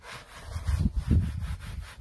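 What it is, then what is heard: Leather car seat being scrubbed. A gloved hand scrubs a black, padded leather rear seat cushion in a Honda, covered in foam, with a wood-backed bristle brush. The sound is a dull, low, rubbing scrub that swells into two stronger strokes in the middle of the clip, then eases back to a softer brushing.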